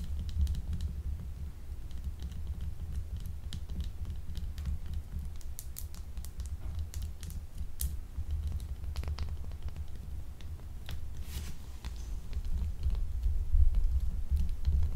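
A small, solid, translucent blue glycerin soap bar, held in both hands, is scratched with long acrylic nails. Quick, irregular scratchy clicks and bright crackles sound over a steady low hum, growing a little louder near the end.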